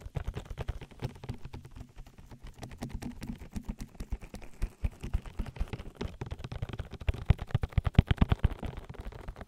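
Fingertips with long nails rapidly pat and rub the oil-coated white silicone ear of a 3Dio binaural microphone, its hollow ear canal sitting close to the mic. The result is a fast, irregular stream of soft, muffled thumps and slick rubbing with a deep, boomy low end and almost no bright content, the taps growing sharper and more pronounced toward the end.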